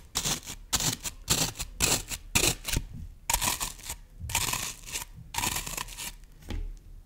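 A solid green floral foam brick has its top surface scratched and pressed into by long nails, and then hands hold it at the sides. The scratching comes in repeated bursts of bright, crackly, crunching scrapes with short pauses between them, each burst rising and falling quickly.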